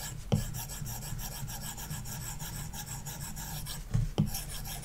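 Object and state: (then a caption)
Stylus scratching on a matte-filmed tablet screen. A plastic stylus tip is rubbed rapidly in dense hatching strokes over a red shape on an iPad resting on a wooden desk; the solid glass screen likely has a paper-like matte film. It makes a steady, strong rasping scratch with a low body and faint bright hiss, and a few sharper taps stand out near the start and around the four-second mark.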